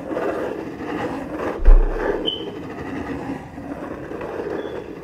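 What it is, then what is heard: Cardboard box being scratched. A closed, medium-size corrugated cardboard shipping box with packing tape, hollow inside, is scratched along its side with long fingernails right next to the microphone. The result is a steady, dull, papery scratching with strong low-end rumble and a sharper thud-like bump near the middle, then a short, thin squeak.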